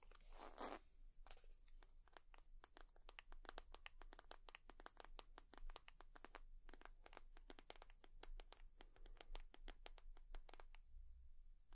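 A leather purse is tapped and scratched with long nails, producing a steady run of quick, dry clicks with brief scratchy brushing. The sound is quiet and close, with a faint low hum underneath throughout.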